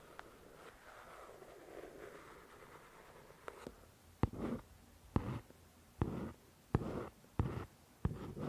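A long fingernail scratches and traces across the paper cover of a "The Shack" paperback book. It starts with soft, continuous rustling, then shifts to a series of sharp clicks, each followed by a short scratchy burst. The sound is quiet, close and dry, with most of its energy low.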